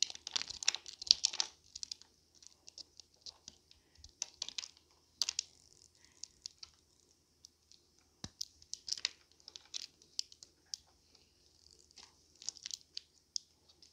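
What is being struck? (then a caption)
Soap bar cut with a knife blade. A solid blue dried soap block, held in the palm, is carved into thin crisp slices with a metal utility knife blade, dropping a pile of blue soap shavings beneath. Quiet, dry, bright crackling and scraping bursts come in irregular clusters with short pauses, each cut crunching sharply and ending almost instantly.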